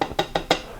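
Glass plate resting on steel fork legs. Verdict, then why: Misaligned. Four quick taps on a glass plate resting across the steel front fork legs of a 1983 BMW R100RS/RT, held deliberately off the bottom of one leg, make it ring and rattle with a bright tone near 500 Hz that dies away fast. The ringing shows one fork leg has been pushed ahead of the other, so the forks would need bending back into alignment.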